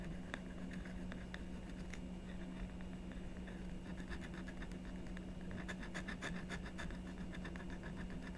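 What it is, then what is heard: Scratch-art paper board being scratched. A blue stylus makes small scratching strokes in the black coating of a scratch-art sheet on a card backing, lying flat on a desk with the other hand resting on it. Quiet, dry scratches flick up in short bright bursts over a steady low hum, growing busier toward the end.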